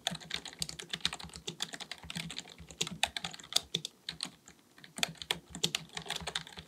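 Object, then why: Plastic computer keyboard. Both hands' fingertips type rapidly on a black full-size plastic keyboard resting on a desk. They produce a dense stream of short, bright key clicks with a faint low thump beneath. The taps come in uneven bursts with a brief slower stretch in the middle.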